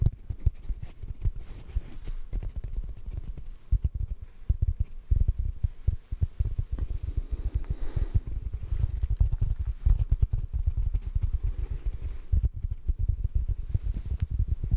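A large, soft, solid block of yellow porous synthetic foam sponge is held close and softly tapped with the fingertips. A steady run of muffled, low, dull thumps continues for the whole clip with almost no ring after each touch.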